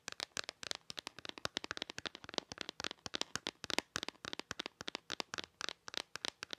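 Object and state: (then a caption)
Plastic calculator casing. Long nails tap and scratch the back of a handheld black plastic calculator's hard plastic casing. About 43 quick, dry clicks sound in a rapid, uneven stream, bright and crisp with almost no low end. Each click dies away instantly with no ring.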